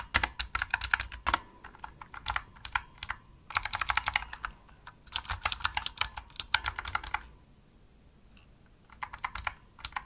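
Fast typing with fingertips and long nails on a full-size pink plastic opto-mechanical gaming keyboard produces dense, bright, clicky key taps in quick bursts. The taps are short and sharp, with brief pauses between runs and a longer quiet gap near the end before a final flurry of keystrokes.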